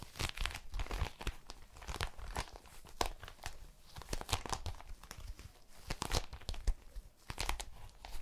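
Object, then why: Small metallic plastic foil pouch. A small, empty, metallic plastic foil pouch is crinkled and scratched with long nails. It makes a dense, steady stream of sharp crackles and crinkles, with bright, tearing-like bursts spread across the whole clip and quick decays between them.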